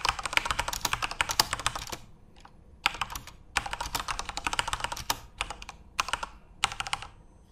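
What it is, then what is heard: Plastic mechanical keyboard. Both hands type rapidly with their fingertips on a Corsair mechanical computer keyboard with plastic keycaps and an RGB backlight, resting on a desk. Dense bursts of sharp, bright plastic clicks and clacks come in quick runs, separated by short pauses. Each keystroke dies away almost instantly.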